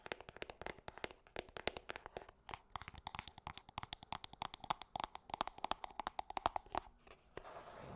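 A small, hollow, gold-printed cardboard perfume box is held in one hand and tapped and scratched with long painted nails. It gives a rapid run of dozens of crisp, dry clicks with a hollow papery ring around 700 Hz, and each tap dies away almost at once. The clip ends with a brief, brighter scratching hiss across the box's surface.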